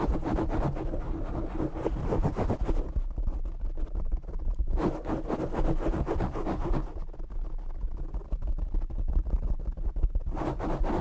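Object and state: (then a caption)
Foam microphone windscreen. Nails of both hands scratch and tap a black foam windscreen on a desktop microphone, giving a dense, rough, close scratching with a heavy low rumble. Busier, brighter scratching passages alternate with duller, thumpier stretches of tapping and rubbing throughout.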